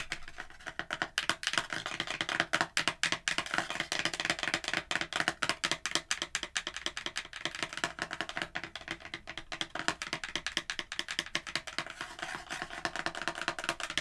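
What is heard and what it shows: A hollow kraft cardboard candle box is held close and tapped and scratched with long acrylic nails. A steady stream of fast, dry clicks and scratchy taps comes through, bright and papery with almost no low end. Each tap cuts off almost at once.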